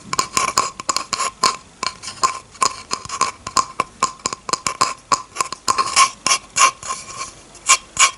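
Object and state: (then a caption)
Bamboo cutting board. Long red-painted fingernails scratch across the surface of a flat, solid bamboo cutting board. The clip holds about thirty short, irregular scratching strokes, dry and bright, with a faint steady tone near 1 kHz under them, and each stroke stops quickly with almost no ring.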